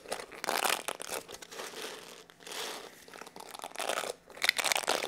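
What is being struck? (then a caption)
Plastic hair brush with plastic bristles. Fingertips rub and scratch across the dense plastic bristles and back of a small black plastic paddle (cushion) hair brush held in both hands. The result is dry, crinkly, bright scratching that comes in uneven bursts with short quiet gaps and has almost no low end.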